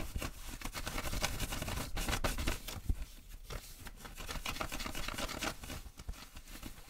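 Fingers and nails scratch and rub the fabric and back pocket of blue denim jeans being worn. The result is a fast, dense run of rough scratching and rubbing, with low thumps under bright, crackly fabric rasps.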